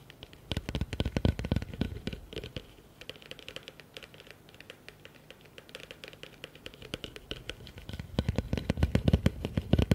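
Fingertips and nails tap and scratch the sides and bottom of a medium, hollow, empty blue plastic bucket with a rim lip. Fast, irregular bursts of short, dry taps give a low hollow thump with bright clicky edges, mixed with soft scratching. The tapping is busiest at the start and end and lighter through the middle.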